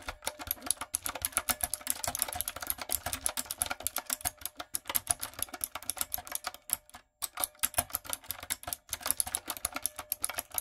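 Rapid typing with fingertips and long coffin nails on a backlit, typewriter-style mechanical keyboard with round brown plastic keycaps on a dark frame. The keystrokes are sharp and bright, with quick clicky taps that die away almost instantly. They run in a fast, steady stream with one brief pause midway.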